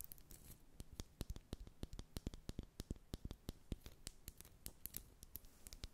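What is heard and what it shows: Long acrylic nails tap and scratch a small glass Inglot All Covered foundation bottle with a black plastic cap, filled with liquid and held in both hands. The result is a quiet, rapid run of sharp, dry clicks with bright edges and no ring, and soft scratching fills the gaps between them.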